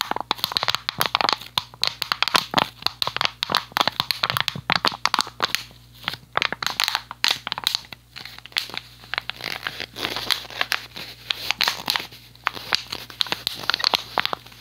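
An empty, hollow clear PET plastic water bottle with a blue cap is gripped and crunched by fingers and nails. The result is a dense run of sharp, bright crackles and crinkling pops in rapid bursts, with brief quieter pauses between squeezes.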